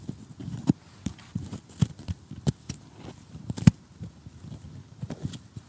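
Short nails rapidly tap an assembled cardboard jigsaw puzzle lying flat while tweezers pick out pieces. The result is an irregular run of quick, dull, low taps with almost no ring, along with a few sharper bright clicks.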